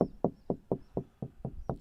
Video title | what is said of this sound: RV OUTDOOR SHOWER. EASY TO DO. | see here is more hollow sounding